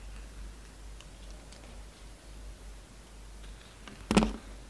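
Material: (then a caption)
Soap. A palm-sized, rectangular solid black soap bar with red, purple and white stripes is held in the hand while its edges are sliced and cut with a yellow-handled utility knife. Quiet low hum and faint scattered ticks run through most of the clip, then one sharp, bright slicing crunch stands out near the end and fades quickly.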